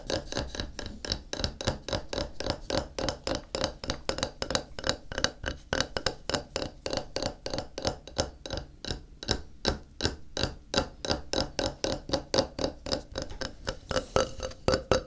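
A flat, solid white glazed ceramic tile stands upright and is tapped on its face with fingertips. A long, steady run of quick, dry taps follows, each with a short, hard click, a brief ring near 530 Hz and a bright edge.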